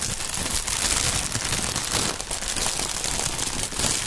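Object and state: Plastic air pillow packaging.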